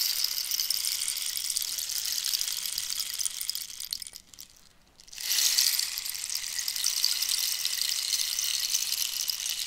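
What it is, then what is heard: Cactus wood rainstick. Long nails scratch and tap a hollow cactus wood rainstick with filler inside as it is tilted, so the filler may rattle. A steady, bright, hissing rattle like falling rain fills the clip, dips almost to silence briefly just before the midpoint, then surges back and carries on to the end.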